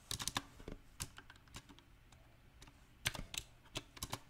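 Fingertips type irregularly on a mechanical keyboard with round plastic typewriter-style keycaps on a silver metal frame, including presses of the modifier keys. Sharp, bright key taps come in uneven clusters, with a quieter stretch in the middle before another burst. Each click is dry and stops almost instantly.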